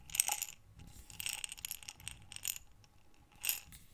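A medium glass mason jar with a metal screw lid, mostly full of small buttons, is held in both hands and tilted and rotated so the buttons slide and rattle inside. Bright, clicking clatters come in bursts, with a loud one at the start, quieter shuffling through the middle, and a final sharp rattle near the end.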